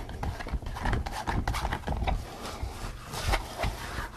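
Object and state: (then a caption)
Latex pig mask being scratched. Fingers scratch and rub the crown between the ears of a pink latex rubber pig mask worn on the head. The result is a string of dull, muffled rubbery scrapes and squeaks, heavy in the low end with short bright swishes on each stroke.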